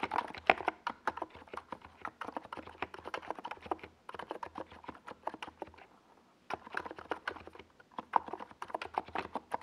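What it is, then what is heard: Mechanical keyboard with tall plastic keycaps. Fingertips of both hands type on a compact 68-key mechanical keyboard, a NiZ Plum Atom 68 with a white plastic case and tall purple and yellow Domikey Gas Attack SA plastic keycaps, resting on a desk pad. Quick, clacky keystrokes come in steady bursts with a mid-pitched, hollow plastic tone. There is a short pause near the six-second mark before typing resumes.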